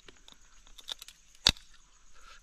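A crab claw is cracked open to judge by its sound whether it is full or hollow. Light crunching crackles lead up to one sharp, bright crack with almost no ring. It proves full, with only a thin shell outside and packed with meat inside.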